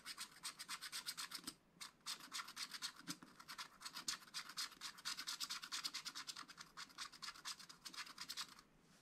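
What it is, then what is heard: Scratch-art paper being scratched. A pointed wooden stylus scratches the black wax coating of a scratch-art paper page in a spiral notebook, revealing metallic colour beneath. Steady, rapid, bright scratching strokes repeat in a continuous rhythm with only brief pauses.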